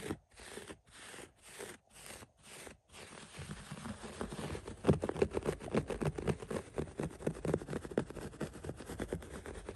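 Fingertips and nails scratch through the pile of a thick green-brown synthetic shag carpet on the floor. It opens with six separate short, soft strokes with brief silences between them, then turns into rapid, continuous scratching that is dull and low-heavy. The scratching grows louder and busier from about the midpoint on.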